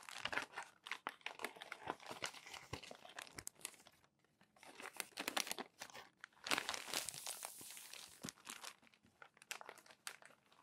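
Both hands lift, turn and smooth crumpled glossy paper magazine pages with fingers and palms. Dense, bright crinkling and crackling come in bursts, with a near-silent pause around the four-second mark. Sharp rustles rise again and continue to the end.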